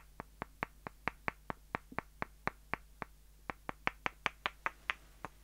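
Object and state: Wooden dowel sticks tapped together.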